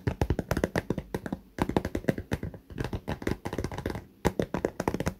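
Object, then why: Fabric cosmetic pouch with clear vinyl window, filled with toiletries. Fingernails of both hands tap rapidly along the top edge and clear vinyl window of a small pink fabric cosmetic pouch full of toiletries. The taps are short, dry and muffled with a low, soft body, coming in quick flurries separated by brief pauses.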